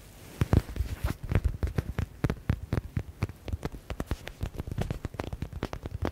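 Fingertips and nails tap rapidly on a yellow stitched smiley stress ball with a faux leather (synthetic leather) cover. The result is a quick, irregular patter of dozens of short, dull thuds, mostly low at around 90 Hz, with each tap dying away almost instantly.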